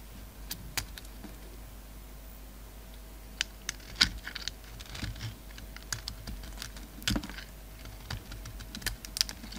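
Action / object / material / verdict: scrape / bar of soap carved with a knife blade / soap / none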